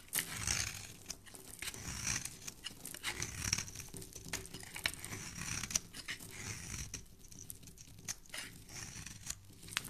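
A solid, hand-sized, rectangular pink soap bar with embossed lettering is held in the hand and scraped and carved with a metal utility knife blade, shaving off crumbly flakes. Dry, crisp scraping and crunching strokes follow one another closely, with a bright, hissy edge and short, sharp crackles throughout.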